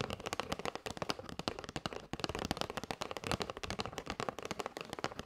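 A flat kraft cardboard box with a clear plastic window showing paper straws is held and tapped with long white nails. A rapid, steady run of short, dry taps and clicks sounds with very little ring.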